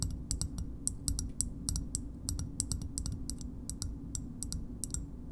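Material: Plastic.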